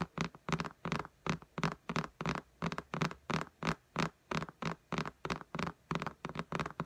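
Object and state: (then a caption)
Glass tablet screen tapped with nails. Long nails tap and click on the glass screen of an iPad lying flat in a pink case. About 24 short, dry taps come in a quick, somewhat uneven rhythm of roughly three per second. A faint low hum sits underneath.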